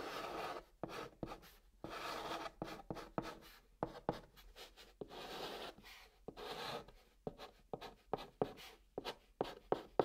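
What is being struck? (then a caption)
Chalk stick on a cardboard box top. A chalk stick held in the fingers writes and dots on the top of a flat brown cardboard box. Soft, dry, scratchy strokes alternate with crisp, quick taps in an irregular rhythm. The taps grow more frequent toward the end, and the sound stays quiet with no ringing.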